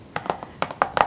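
Fingers tap on a plastic Scott Pilgrim DVD case, making seven light, dry, hollow clicks at an uneven rhythm. Each tap is brief with a mid-pitched knock and almost no ring.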